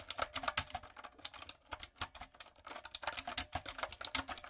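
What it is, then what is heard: Plastic mechanical keyboard being typed on. Long coffin nails and fingertips type quickly on a backlit, typewriter-style mechanical keyboard with round retro plastic keycaps and a hollow body. The result is a steady stream of sharp, bright plastic clicks and clacks with almost no low end and very short decay, some strokes louder than others.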